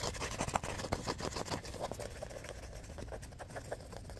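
Fingers fan, riffle and scratch the worn, wavy paper pages of a small composition notebook with a cardboard cover. A quick, uneven run of dry papery flutters, scratches and crisp ticks plays over a soft rustling bed, loudest early on and settling into a steady, lighter texture.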